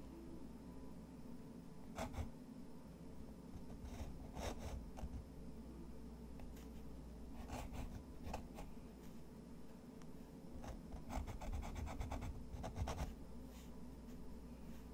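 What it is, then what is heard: Pen nib scratching textured paper. A fountain pen nib scratches repeated hatching strokes across a sheet of thick, textured white watercolor paper resting on a wooden desk. Short bursts of dry, bright scratching rise and fade in clusters over a steady low hum that fills the background.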